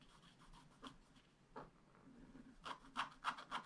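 A wooden stylus scratches the coating of a flat black-coated scratch-art card in short strokes, giving quiet, dry, rasping scrapes. The strokes come sparsely at first, then in a quicker, louder run near the end, each with a bright, papery edge and almost no ring.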